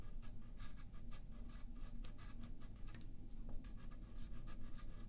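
A yellow graphite pencil draws lines on a thin sheet of white paper lying flat on a wooden table, with the sheet held down by the left hand. Quiet, scratchy pencil strokes come in quick repeated bursts of bright hiss over a low, steady rumble.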